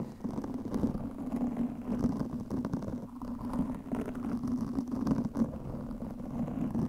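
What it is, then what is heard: Foam microphone windscreen being scratched. Long nails on both hands scratch quickly over a black, soft, porous foam windscreen covering a microphone. The result is a dense, continuous, muffled rumbling scratch with a low hum near 230 Hz and almost no bright high end, swelling and dipping in level throughout.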